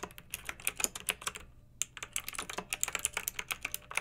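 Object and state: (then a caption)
Plastic mechanical keyboard being typed on. Fingertips with long nails type on a pink backlit mechanical keyboard with round plastic typewriter-style keycaps. About 25 crisp, bright clicks sound in quick succession, each dying away almost at once, with a short pause in the middle of the run.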